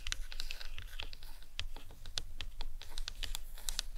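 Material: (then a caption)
Plastic. Long acrylic nails tap the top and sides of a large, hollow, white plastic skull cap from an anatomical skull model resting on a towel. The result is a rapid, irregular patter of short, bright, dry clicks that die away almost instantly, over a faint low rumble.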